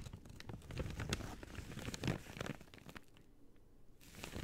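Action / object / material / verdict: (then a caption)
scrape / thin paper bag / paper / none. An empty, thin white-grey paper bag, hollow and folded, is held in both hands and crumpled, folded and squeezed with fingertips and long dark-teal painted nails. Dense, papery crinkling and sharp crackling rustles fill the first three seconds. The sound then drops to a near-quiet pause before soft crinkles return at the end.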